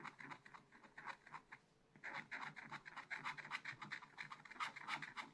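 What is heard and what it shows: A wooden stylus scratches dense hatching over a bear figure on a black coated scratch art paper page in a small spiral pad lying flat. Quick, dry, bright scratching strokes come in a rapid, uneven rhythm. They pause briefly near the two-second mark, then resume more densely and slightly louder.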